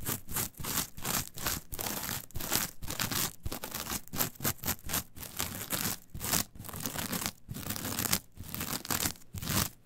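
Long pointed nails scratch and rake through the fibers of a flat, brown, coarse coir fiber mat. The result is a steady run of dense, dry, crackling scratch strokes with a bright, hissy top and a rough low rasp, each stroke separated by brief gaps.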